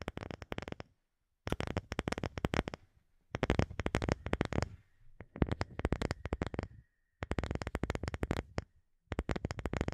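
Long fingernails tap rapidly on a round, light-colored, palm-sized wooden disc that looks solid, held behind the microphone. The taps come in quick, dense bursts separated by short pauses, each one a dry click with a soft low thump and almost no ring. A faint steady tone near 2 kHz hums quietly underneath through the middle of the clip.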